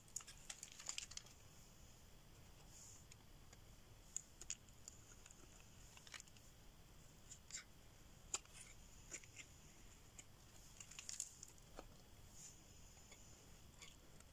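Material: Soap.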